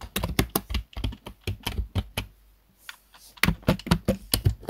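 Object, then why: Plastic computer keyboard. Fingertips of both hands tap the keys of a black plastic desktop keyboard in fast typing. About 20 sharp, dry clicks come in quick bursts, with a short pause in the middle before the typing picks up again.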